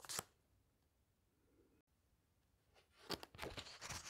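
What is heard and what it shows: Fingertips and nails press and turn the glossy paper pages of a large hardcover book. A sharp, bright rustle opens the clip, followed by a long quiet stretch with faint soft shuffling, then a cluster of crisp, crinkly page sounds near the end.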